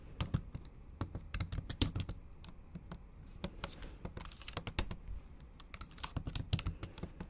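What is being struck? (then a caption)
Laptop keyboard with plastic keys. Long acrylic nail tips and fingertips tap the backlit black plastic keys of a MacBook Pro with a silver aluminium body in a typing motion. The result is an uneven, quick run of short, dry clicks, each with a soft low thud and a bright tick that dies away almost at once. A few keystrokes land harder than the rest, and there is little sound between them.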